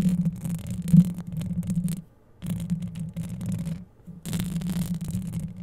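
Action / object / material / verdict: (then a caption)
scrape / metal wire-mesh microphone grille / metal mesh / none. Long yellow acrylic nails scratch quickly over the hollow metal wire-mesh grille of a microphone held close, making a dense, low rumbling scrape with a brighter, fizzy edge. It comes in three continuous bursts separated by brief pauses.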